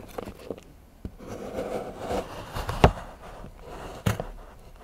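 A large steel knife shaves and scrapes the edge of a solid milk chocolate bar into curls while fingertips hold the bar on a patterned board. Soft, low, dull scraping and rubbing is broken by a few short, sharp knocks and clicks. The sound stays quiet and close, with almost no ring after each knock.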